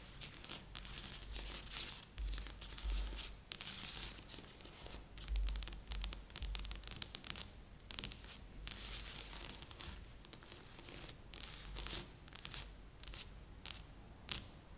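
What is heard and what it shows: Fingertips and nails scratch across the surface of a large assembled cardboard jigsaw puzzle lying flat on a board. Dry, bright, raspy scraping comes in uneven bursts with brief pauses, over a soft low rumble. Sharp clicks and crinkly scratches punctuate the strokes throughout.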